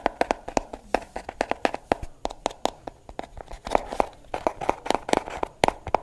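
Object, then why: Plastic hairbrush. A pink plastic brush with a hollow shell and plastic bristles is turned in the hands while long nails tap its back and scratch across the bristles. The result is a rapid, uneven series of dry, hollow clicks centered around 750 Hz, each with bright edges and almost no ring, over a soft scratchy rustle.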